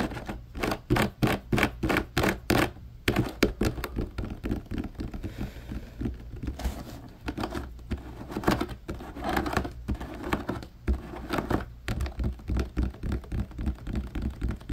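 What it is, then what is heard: Plastic laundry basket tapped. Fingertips of both hands tap on the bars of the slotted grid side of a large, hollow, empty blue plastic laundry basket. The result is a fast, uneven run of short, dull plastic taps with a hollow low thump under each. They come in quick bursts and brief pauses, every tap dying away almost at once.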